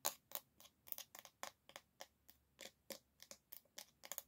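Long nails scratch and tap the solid bamboo back of an oval hairbrush held by its handle. About fifteen short, dry, bright clicks and scrapes come in an uneven run, each dying away almost at once, with no low-end body and quiet gaps between.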